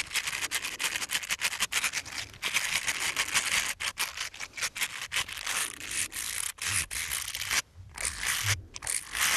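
Two small, hollow, light-blue ribbed silicone finger sleeves, worn on the fingertips, are rubbed and scratched against each other. They make a steady run of bright, dry scraping and rustling strokes with little low end, broken by two short pauses near the end.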